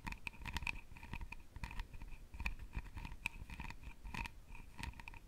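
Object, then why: Carved wooden box lid. Long nails tap and scratch the lid of a palm-sized, hollow, round openwork jewelry box carved from wood or birch bark. The result is a quick run of short, dry clicks and scrapes with almost no ring, carrying a faint bright tone near 2.5 kHz over a soft low thump.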